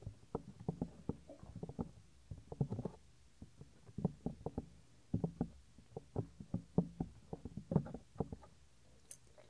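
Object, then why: Soft silicone ear of a binaural microphone. Fingertips rub the small, solid, white soft silicone ear of a 3Dio binaural microphone, producing a quick, irregular stream of dull, muffled thumps and rubbing bursts. The sound is heavy in the low end, with short, dry hits and almost no ring, and a brief brighter scrape comes near the end.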